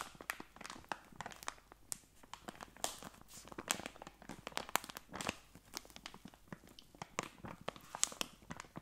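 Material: Plastic.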